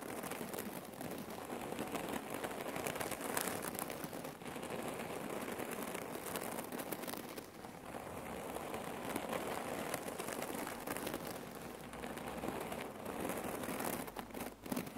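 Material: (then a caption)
Cotton, cherry pits. Long nails rapidly tap and scratch across a folded, rectangular red cotton neck warmer pillow filled with cherry pits. The result is a dense, continuous, rattling crunch of shifting pits and fabric scratching that holds a steady level for the whole clip.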